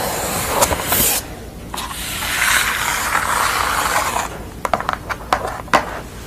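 Long nails scratch along the corrugated edge of a pastel portrait drawn on corrugated cardboard, making bright, hissy rasping for about four seconds. This is followed by several sharp, crisp taps on the cardboard surface.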